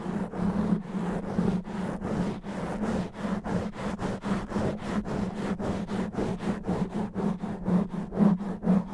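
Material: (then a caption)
Foam. Both hands scratch the sides of a black foam microphone windscreen with their nails. The result is a fast, rough, rhythmic scraping of about two strokes per second, with a dense, muffled low-mid rumble and little high sound.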